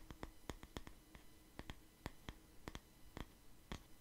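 A wooden paddle hair brush with bristles, held beside the mic, is tapped and scratched by fingers on its wood. The clip is quiet, with short dry clicky taps that ring briefly, spread irregularly over four seconds on top of a soft low scratchy rustle.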